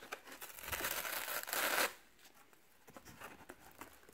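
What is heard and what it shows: Fingertips and short nails pick at, peel and tear the paper layers of a thin, flat torn piece of brown corrugated cardboard box wall, held close with its fluted inner layer exposed. A bright, continuous ripping and crinkling builds for nearly two seconds and cuts off sharply. Quiet, scattered scratches and picks along the ridged flutes follow.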